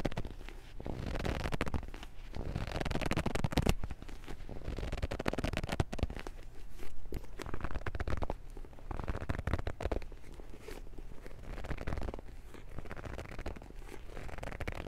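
A Transformers paperback book is gripped, its pages flexed and its cover scratched with fingertips. The result is a steady stream of soft, crackly scratching and rustling over a dense, muffled low rumble, with very little bright content and no clear pauses.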